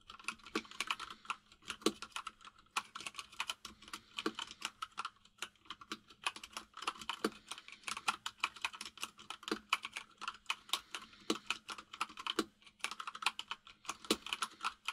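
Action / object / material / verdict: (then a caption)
tap / mechanical keyboard with plastic keycaps / plastic / none. Both hands type rapidly with their fingertips on a white full-size mechanical keyboard with plastic keycaps resting on a desk. The result is a dense stream of short, bright clacking taps that die away almost instantly. The typing runs steadily across the clip, broken only by a few brief pauses.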